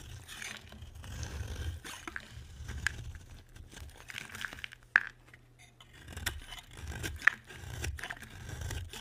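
A utility knife blade carves and scrapes flakes off a solid white rectangular bar of dry soap. Soft, dry scraping and crunchy shaving strokes come in irregular bursts, broken by a couple of sharp, bright clicks, over a low rumble.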